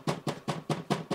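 Six knocks on the acrylic side panel of a Creality K1 3D printer, each a short, hollow, low thump around 180 Hz with a brief rattle. The panel is loose and rattles in its frame, a build-quality flaw.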